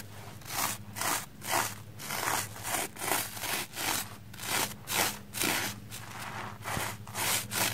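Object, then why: Wet plastic foam sponge scrubbed with a small bristle brush. A red porous plastic foam sponge block, wet with soap lather and held in hand, is brushed and scrubbed with a small black spoolie brush. Repeated bright, scratchy rasping strokes swell and fade at a quick, somewhat uneven rhythm. A faint steady low hum runs underneath.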